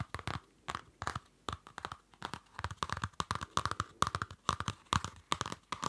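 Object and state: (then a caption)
Cardboard-covered paper notebook. A small Field Notes pocket notebook with a dark card cover over paper is held in the hand while nails scratch and fingers handle the cover. The result is a quick run of dry, crackly scratches and papery rustles in short bursts, each with a faint bright tone near 1.1 kHz and no ring after.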